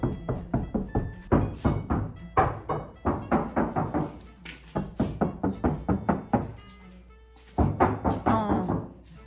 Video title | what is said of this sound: 日産キャラバンに遮音遮熱シートを貼るキャンピングカー車中泊自作DIY｜制振 制震 防音 吸音 断熱 | 全然違う。確かに。重くなった感じ。